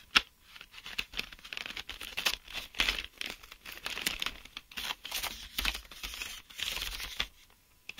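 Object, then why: Clear plastic blister pack with cardboard backing. Fingertips and short nails tap and scratch along the hollow clear plastic blister of a sealed pack of mechanical pencils on cardboard backing, held in both hands. The result is a steady stream of crisp, crinkly clicks and scraping rustles, bright and thin with almost no low end, each tap dying away instantly.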